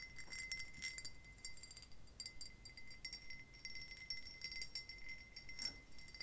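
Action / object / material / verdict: tap / pressed-glass tumbler / glass / none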